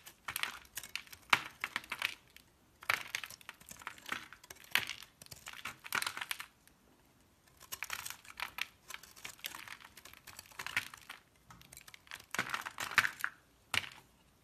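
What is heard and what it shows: A utility knife blade cuts and scrapes crumbly chunks off a solid multicolored blue, pink and green soap bar held in a hand with red nails. Crisp, bright crackling and scraping comes in bursts separated by short quiet pauses, with sharp little clicks as pieces break away.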